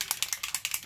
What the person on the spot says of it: it's got a little ball in there for a reason